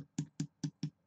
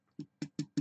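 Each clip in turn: First: hollow unfilled spot behind embossed tin panel. Second: solid, well-filled spot on foam-backed thin tin.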